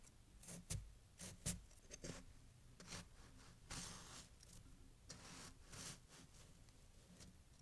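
A metal knife cuts and scrapes through a fresh, compacted snow pile resting on a towel, while bare hands steady it. Quiet, irregular crunchy scrapes and sharper crisp bursts with bright, hissy texture repeat over faint background noise.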